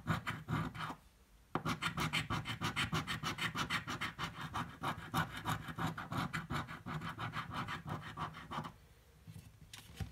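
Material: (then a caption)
Paper card. A coin held in the fingers scratches the latex coating off a small, thin card scratch-off lottery ticket lying flat on a dark table. Fast, rough scraping strokes repeat steadily, with short pauses near the start and end.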